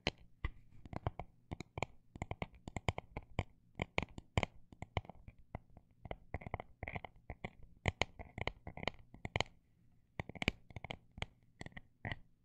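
Fingernails tap on a textured plastic item at a mix of fast and slow paces, producing dozens of short, sharp clicks with bright, high edges. Each tap dies away almost instantly over a faint, steady low hum, with brief pauses between bursts.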